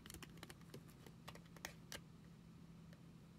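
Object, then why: Foil cosmetic sample sachet filled with cream. Long acrylic nails tap and scratch a small, flat foil and paper cosmetic sample sachet filled with cream, held in one hand. Sharp, bright clicks and crisp scratches come in an irregular series over a faint, steady low hum.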